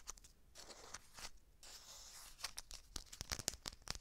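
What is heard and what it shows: A small, flat, red McCormick seasoning packet made of foil-and-paper laminate, apparently sealed, is crinkled and squeezed with long dark nails and fingertips close to the microphone. Bright, crisp crinkling and tearing-like rustles fill the first half, then give way to a quick run of sharp, high clicks and crackles toward the end.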